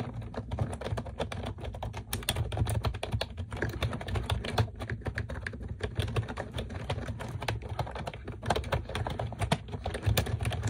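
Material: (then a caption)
Plastic. Long acrylic nails and fingertips type rapidly on a pink plastic computer keyboard with round typewriter-style keycaps and a solid body, resting on a desk. A dense, steady stream of short, crisp clicks and taps plays over a heavy low thump from the keystrokes. Each strike dies away almost instantly.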